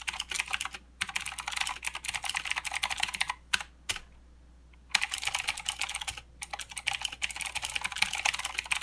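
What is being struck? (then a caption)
Mechanical keyboard with plastic keycaps. Both hands type with their fingertips on a full-size mechanical keyboard with plastic keycaps and blue clicky switches. Rapid, bright, sharp clicks come in bursts, with short pauses and a near-silent gap of about a second midway before typing resumes.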